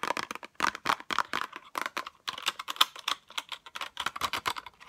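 Long acrylic nails tap quickly on a small pink cardboard box with a clear plastic window that holds metal tweezers. The result is a rapid, uneven run of sharp, dry clicks and ticks with a bright, papery-plastic edge. There's no low end, and each tap dies away almost instantly.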